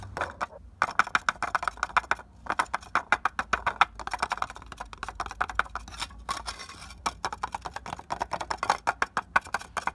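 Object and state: Clay brick.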